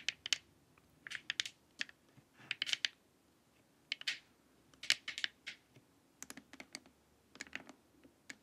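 Long acrylic nails tap and scratch the top and sides of an empty, glossy, hollow plastic LED face mask lying face-up. Quick, bright, clicky taps and brief scratchy strokes come in irregular clusters with short pauses between them. Each sound dies away almost instantly, with no low-end body.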